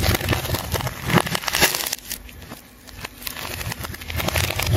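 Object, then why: Ball of layered plastic tape. A metal scalpel cuts and scrapes through a large, solid ball of layered rainbow plastic tape held in one hand, while the hand peels strips away. Dense, irregular crackling and crinkling with sharp scratchy bursts is loud at first, dips to a quieter, softer scraping in the middle, then builds back up to loud tearing crackles at the end.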